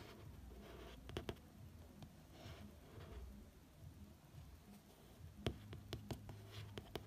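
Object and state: Glossy hardcover book cover.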